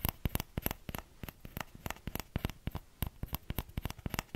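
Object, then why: Small plastic ladle. Fingertips tap the hollow bowl of a small orange plastic ladle in a quick, uneven series of about two dozen short, dry taps. Each tap has a low thump and a bright click and dies away almost at once.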